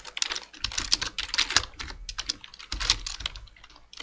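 Dense two-handed fingertip typing on a black plastic full-size computer keyboard produces a rapid, uneven stream of bright, crisp key taps. Each tap decays almost instantly, with faint low thumps beneath the clicks.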